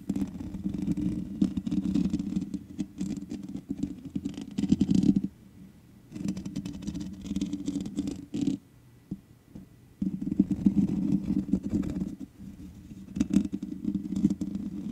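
Long nails scratch the hollow metal mesh grille of a black microphone, making dense, close, rasping scratches dominated by a low-mid rumble. The scratching comes in bursts separated by brief quiet pauses.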